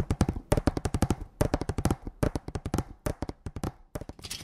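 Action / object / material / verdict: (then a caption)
tap / painted wooden slat sign / painted wood / none. A hanging sign made of a row of thin painted wooden slats tied together is held in both hands and tapped with the fingertips and nails. About thirty quick, dry, knocking taps come in rapid bursts with short pauses between. Each tap is low and hollow, with almost no ring.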